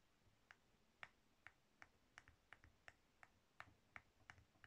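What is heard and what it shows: A palm-sized, solid pink soap bar with an embossed surface is scraped and carved with a metal blade tool held in the fingers. Fourteen crisp, clicky shaving snaps ring out at an irregular pace over a quiet background, each short and bright with a sharp peak around 1.8 kHz.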